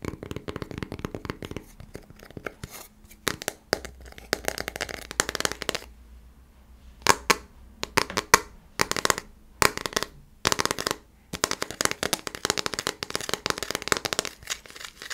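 A thin, solid square coaster with a hard printed front and a cork back is held in the hand and tapped and scratched with fingernails on both sides. Rapid, dry, bright clicks and rasping scratches come in bursts separated by short pauses, each sound stopping at once with no ring.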